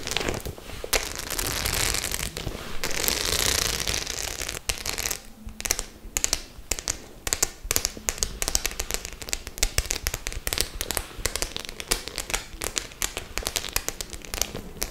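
Long nails tap the metal studs on a white faux leather clutch held upright, making rapid, bright, dry clicking. For the first few seconds the taps run together into a louder, dense crackle, then they thin into sharper, separate clicks with almost no ring.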